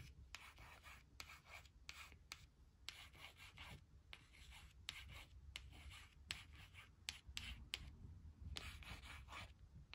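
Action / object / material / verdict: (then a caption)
scrape / laminated cardstock strip scratched with acrylic nail tips / laminated card / none. Long acrylic nail tips trace and scratch the letters on a thin, flat laminated cardstock word strip reading "were not / weren't," resting on a woven blanket. Quiet, bright rubbing and scraping strokes come in short bursts, broken by sharp little clicks and taps, over a low background rumble.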